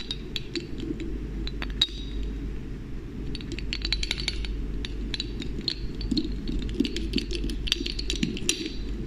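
A small dark-tinted glass serum bottle with a glass pipette dropper is held in the hand close to the mic while the dropper is lifted and pushed back into the neck, with long painted nails touching the bottle. Many short, bright glass-on-glass clinks and taps ring out over a steady low rumble, some louder and clustered closely together.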